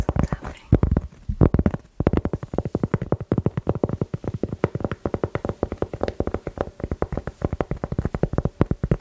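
A thin, flat, solid round cork board about the size of a plate is held up in both hands in front of a microphone while long nails tap and scratch across its textured surface. The result is a fast, steady run of short, dry, low-heavy taps with a faint scratchy edge and almost no ring after each hit.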